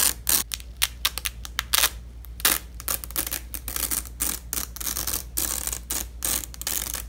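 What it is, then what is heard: Nylon velcro strip being peeled. Black-gloved hands peel apart the two halves of a long, thin, flexible purple nylon hook-and-loop strip lying on red fabric. Repeated bright, crackly ripping tears come in quick, uneven bursts and longer rasps over a steady low hum.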